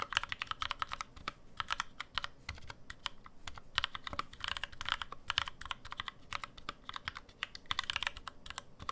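A black NovelKeys NK65 65% mechanical keyboard with an aluminum case, plastic keycaps and lubed NovelKeys Cream switches sits on a deskmat and is typed on steadily with the fingertips of both hands. A rapid, continuous stream of short, crisp clacks is heard, with bright energy centered near 2.9 kHz and each keystroke dying away almost instantly.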